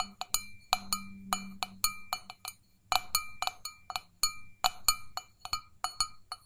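An empty, hollow stainless steel mug held in both hands is tapped rapidly with long fingernails. About two dozen quick, bright metallic clinks ring briefly with high overtones, set over a faint low hum.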